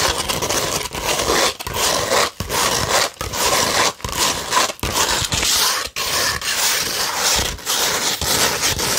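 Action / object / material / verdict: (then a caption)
scrape / sandpaper sheet / sandpaper / none. Long pointed red nails scratch a flat beige 100-grit sandpaper sheet. The result is a dry, gritty, bright rasp in long strokes, broken by short quiet gaps between passes, with little low end and almost no ring after each stroke.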